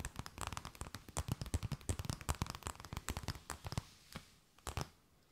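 A thin, empty, clear plastic bag held between both hands is tapped, scratched and crinkled with long nails. Rapid, dense crackling taps and crinkles combine soft low thumps with bright rustle. They thin out to a few scattered taps before fading to quiet.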